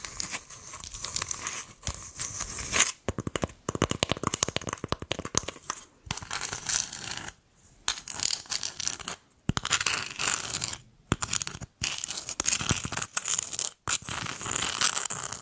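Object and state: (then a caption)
Coconut shell half scratched with nails. Long acrylic nails scratch and tap the hairy outer shell and rim of a hollow, empty coconut shell half as it is held up and turned. The result is a dense, bright, fibrous rasping and crackling in bursts separated by brief silences, with quick dry ticks and almost no ring.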